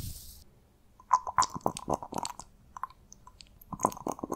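A small amber glass bottle, partly filled with liquid, has its black rubber-bulb glass dropper pulled out and clicked back into the neck. The result is a quick, uneven series of sharp, close clicks and taps, each with a faint ringing tone near 1 kHz. It opens with a brief high hiss that fades, and the taps come in clustered bursts separated by short pauses.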